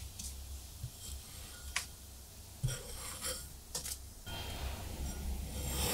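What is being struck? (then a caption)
Kinetic sand block and metal scraper. A metal scraper tool with a black handle is drawn across the top of a large, solid rectangular block of blue kinetic sand held by fingers on a white surface, scraping off layers of sand. Quiet, soft gritty scraping and rubbing is heard over a low rumble, broken by about four brief, brighter scraping bursts. The rasping grows fuller and brighter toward the end.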